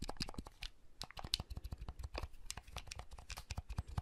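Fingertips press the buttons and handle the shell of a small, hollow red plastic clamshell handheld console that folds open. A quiet, rapid stream of short, dry plastic clicks and taps fills the clip, with soft low thumps under bright, crisp edges and faint scratchy rubbing between presses. Each click stops at once with no ring.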